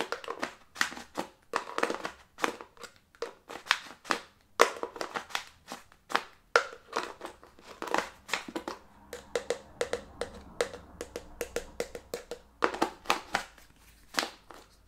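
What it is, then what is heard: Plastic jar tapped and scratched with nails. Long nails rapidly tap and scratch the green plastic screw lid and sides of a small clear plastic jar filled with soft green contents, held in the other hand. Quick, dry clicks and scraping strokes come in fast irregular bursts, each dying away almost instantly with a hollow mid-range knock and bright edges.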